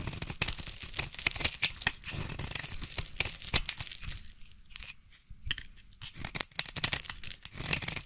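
A utility knife blade shaves and scrapes long curls off a solid, hand-sized, yellow translucent bar of soap. The sound is a series of crisp, bright scraping strokes with a dry tearing texture, quieting briefly around the middle before the quick strokes pick up again.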